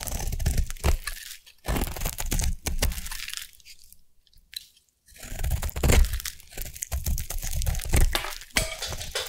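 A solid purple oval bar of soap is carved with a metal blade, giving bursts of dense, crunchy scraping and shaving with a low, full body and bright crackle on top. The cutting pauses into near silence midway, then resumes with more crunchy shaving strokes.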